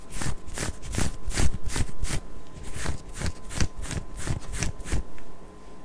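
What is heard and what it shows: Long acrylic nails scratch and rub over a worn pink ribbed knit cotton long-sleeve crop top on the torso, close to the mic. A quick run of rhythmic, raspy scratching strokes follows, each a short bright burst of fabric noise with a faint steady tone underneath.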